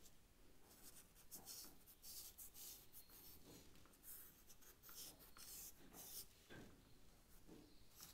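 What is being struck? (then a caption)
Charcoal stick on paper sketchbook. A charcoal stick is drawn across the paper of a sketch pad, shading a leaf. Quiet, scratchy rubbing strokes come in irregular bursts of bright, airy hiss with soft low rustling underneath.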